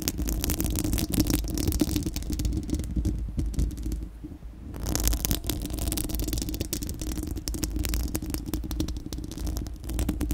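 Long acrylic nails on both hands scratch across a bare, round, hollow steel-mesh microphone grille dome. The result is a dense, continuous rasping scrape with a heavy low rumble and a steady hum-like tone around 300 Hz, dotted with quick bright ticks. The sound eases briefly near the middle before the scratching resumes at full strength.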